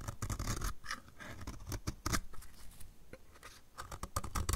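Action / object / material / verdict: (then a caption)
scrape / soap bar scraped with a knife blade / soap / none. A solid, dry blue soap bar is scraped with a utility knife blade held in the other hand, producing a rapid series of dry scratching strokes. The strokes are short and gritty, with brief bright shaving crackles over a low rumble, and they come in quick bursts with quieter gaps between them.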